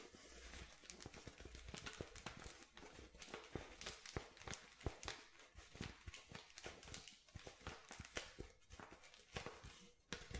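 A clear plastic water bottle with a white cap, hollow and partly crushed, is held in both hands while fingertips and nails tap and grip it. A steady run of quick, dry taps and crinkly plastic crackles is heard, with bright clicks over a faint low rumble. The taps die away instantly with no ring.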